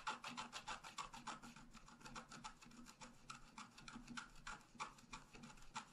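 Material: Coated paper.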